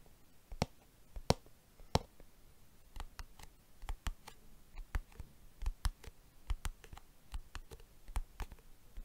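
Fingertips tap and drum on the curved lid and edge of a small silver-white hard plastic case, hollow and closed, held in one hand. About 19 quiet, sharp, dry clicks come at an irregular pace over nine seconds, each dying away almost instantly against a faint low background.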